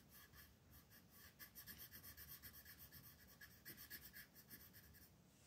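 A purple colored pencil is rubbed back and forth over a flat paper mandala coloring book page near the edge of the design, while the other hand's fingertips steady the sheet. The result is a quiet, steady run of dry, scratchy strokes, about four per second, with a bright, hissy texture.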